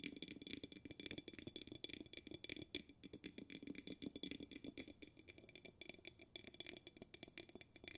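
A glass jar with a bamboo lid is held in the hands while a fingertip taps the bamboo lid and fingernails tap the glass. Quiet, rapid, uneven tapping mixes soft dull knocks around 300 Hz with bright, glassy clicks that ring briefly at high pitches. The taps stay dry and close with very short decay.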